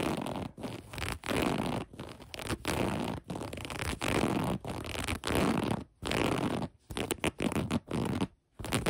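Long acrylic nails scratch the gathered elastic waistband of light gray cotton sweatpants. The result is a rough, raspy scratching in steady bursts, with short silent breaks between strokes. The sound is full-bodied and grainy, with a soft high hiss on top.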